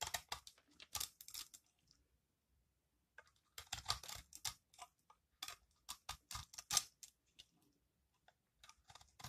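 A metal utility-knife blade scrapes crunchy flakes off a solid, dry, green recycled soap ball held in the hand. Bursts of bright, crisp crunching and scraping come in clusters separated by quiet pauses, with each stroke dying away almost at once.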